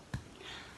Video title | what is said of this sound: 🍞THE SECRET TO MAKING BREAD FAST🍞 | tap the bottom and hear if it thuds